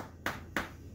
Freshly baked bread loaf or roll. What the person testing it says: when you tap them and it makes like a hollow sound that's when you know it's done